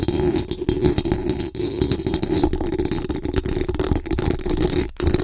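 Very long acrylic nails scratch fast and hard across the hollow metal mesh dome grille of a large condenser microphone, producing a dense, continuous rasping rattle with a strong low hum-like body around the midrange. The scraping stays steady and busy throughout, with brief dips where the nails lift off the mesh.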